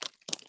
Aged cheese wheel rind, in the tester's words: you can knock on it it's really hard like parmesan